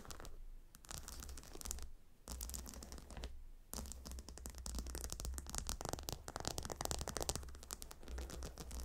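Fingernails scratch and tap across the hexagonal stone tiles of a gemstone hot stone pillow, making dense, bright, crackly scratching with quick clicking taps. The sound has a steady low rumble underneath and pauses briefly twice before picking up again more busily toward the end.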